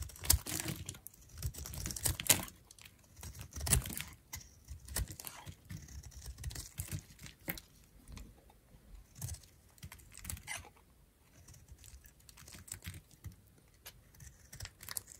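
A metal utility-knife blade carves and shaves the face of a dry, peach-colored solid oval bar of soap held in the hand. Dense, crisp scraping and crackling strokes repeat through the clip, with bright, short-lived clicks and a low rumble underneath. The stroke-by-stroke strip is far too busy to count, so no number is given.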